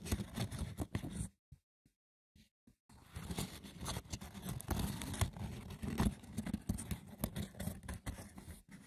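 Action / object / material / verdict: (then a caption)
scrape / woven wicker basket / wicker / none. The textured woven surface of a wicker basket is scratched roughly and tapped, giving a dense, crackly scraping texture with short sharp clicks. The scratching pauses into near silence for about a second and a half, broken only by a few faint taps, then resumes as steady rough scratching until the end.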